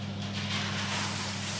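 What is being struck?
Nothing is struck.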